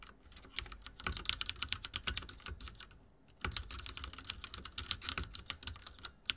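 Fingertips type on a backlit mechanical keyboard with dark plastic keycaps and a silver frame. The result is a rapid run of short, bright clicks and clacks with a little low thump. There is a brief pause near the middle before the typing resumes.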